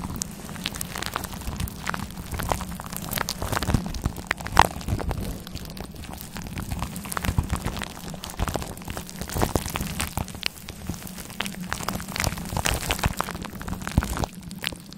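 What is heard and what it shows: Long black claw-glove nails scratch and rub a fluffy grey faux fur windscreen covering a microphone, which sounds soft and hollow. The result is a dense, steady crackling and rustling over a low, muffled rumble, with many sharp, bright scratchy clicks that come and go.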